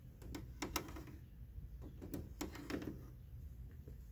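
Fingertips and short nails scratch and tap across the thin ribbed louvers of the white plastic front grille of a large, hollow window air conditioner. The result is a series of quiet, dry plastic clicks and scrapes with a low hollow body, set over a steady low hum.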